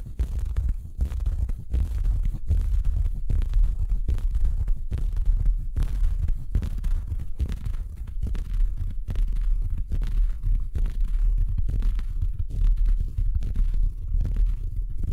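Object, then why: Felt Christmas stocking. Fingertips rub and scratch a large, empty, soft red felt Christmas stocking with a white plush cuff, held up near the microphone. The result is a steady, muffled, low-pitched rustling with rapid repeated strokes and almost no high brightness.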